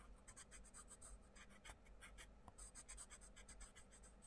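A wooden pencil tip draws continuous, scratchy colouring strokes across the page of an open paper colouring book on a table while the other hand rests on the paper. Quiet, rhythmic bursts of bright, dry scratching repeat back and forth over a steady low hum, each stroke stopping short with no ring.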